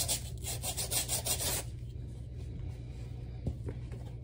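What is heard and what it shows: A wooden-handled bristle brush scrubs the lathered footbed of a black rubber slide sandal held in the other hand, making a run of bright, raspy brushing strokes. The scrubbing stops after about a second and a half, leaving a quieter stretch with a low steady hum and a faint tap near the end.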